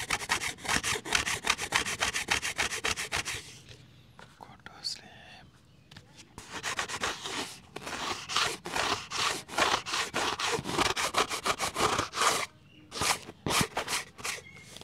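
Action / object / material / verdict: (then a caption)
scrape / large round ribbed plastic lid / plastic / none. Fingertips and nails scratch and rub a large, round, red ribbed plastic lid held up close, making rapid bursts of bright, dry scraping at a quick, uneven pace. The scratching pauses into near-silence for a few seconds with only faint light touches, then resumes in dense runs, with one more brief break before the end.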